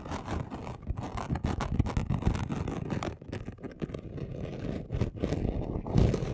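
A flat gold and red chunky glitter sheet, about A4 size, lying on a dark cloth, has its coarse surface scratched fast with the short nails and fingertips of both hands. The result is a dense, rapid scratching rustle, heavy in low frequencies, with little high brightness. It runs continuously, with brief dips and a louder burst near the end.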